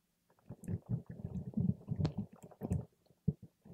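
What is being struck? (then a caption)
Water gel beads in a plastic cup. A paper straw pokes and stirs a clear plastic cup full of purple water gel beads. It makes a run of soft, wet squelching bursts that are low and muffled, with faint bright clicks between them. The sound ends in a few short, separate squishes.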